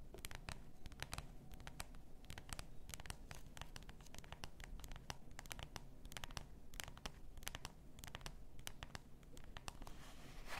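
Long nails scratch the label of a full glass bath salt bottle lying on fur. The scratching comes as a steady run of quick, dry, bright ticks and rasps over a low, soft rumble, with no ringing after each stroke.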